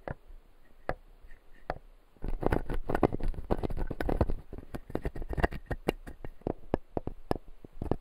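A fingertip taps and scratches the plastic teeth of a clear acrylic dental model. A few sparse, dry clicks open the clip, then a dense run of quick, irregular tapping and scratching begins at about two seconds. The clicks are short and sharp with no ringing, and they continue unevenly to the end.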